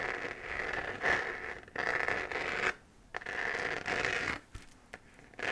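Long fingernails scratch across the textured surface of a hollow, glowing 3D-printed plastic moon lamp sphere. The result is dry, raspy scraping strokes with a bright, hissy edge centered in the upper mids, coming in sustained sweeps separated by brief quiet pauses and a few faint ticks.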